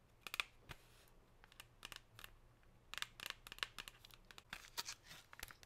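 Long pink nails scratch and tap along the chevron ridges of a thin, clear, silvery plastic chocolate tray. Quiet, bright crinkly clicks and scratchy rasps come in quick irregular bursts, each dying away almost at once, with very little low end.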